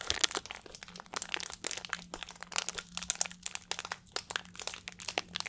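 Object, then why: Thin plastic water bottle. A small, hollow, clear plastic water bottle with a blue cap is squeezed and crinkled by fingertips close to the microphone. It makes a rapid stream of bright, crisp crackles and crunches that each die away almost at once, over a faint steady low hum.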